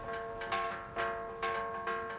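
The gaval-dash, a resonant boulder at Gobustan known as the "tambourine stone," is struck four times in even succession. Each hit rings out with clear, bell-like tones around 500 Hz and 1 kHz that sustain and overlap into the next strike.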